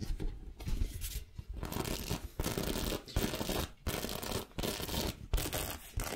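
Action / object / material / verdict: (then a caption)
scrape / faux leather backpack panel / faux leather / none. Long nails tap and scratch the white front panel of a small white and black faux leather backpack with a red sequin heart, which looks empty or soft. Dense, rustling scratches come in bursts separated by short pauses, with a dull low thump under bright, hissy texture.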